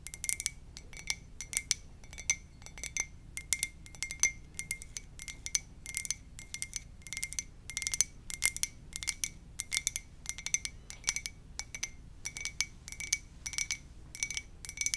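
Long nails tap rapidly on the side of a hollow white ceramic mug with a lips print, held in both hands. The quick, bright clinks come in uneven bursts over a low background hiss, each with a very short ring centered near 2.1 kHz.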